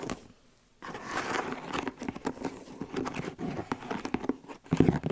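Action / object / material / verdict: scrape / leather cowboy boot tapped and scratched with long nails / leather / none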